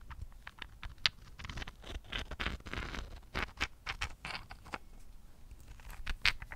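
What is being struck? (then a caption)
Rose quartz chunk tapped with fingernails. A large, solid, rough pale-pink rose quartz chunk held in both hands is tapped and pattered with long painted fingernails. Quick, bright clicks and scratchy taps come in uneven bursts, with a few sharper ticks standing out, and each one dies away almost at once over a faint low rumble.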